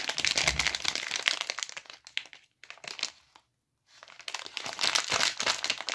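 Fingertips squeeze and rub the pink glossy plastic film wrapper on a full, unopened palm-sized Olivia Milk'n White bar of soap. The result is bright, dense crinkling with sharp crackles. It pauses into near silence just past the midpoint, then swells back to loud crinkling.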